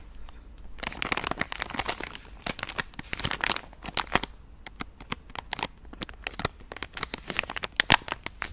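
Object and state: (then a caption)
Plastic wet wipes packet. A palm-sized pink soft plastic Gentle Does It wet-wipes pack, full of wipes, is held in both hands and squeezed and crinkled with fingertips and long nails. The result is dense, bright crinkling and crackling, with sharp plastic snaps rising above a steady rustle throughout.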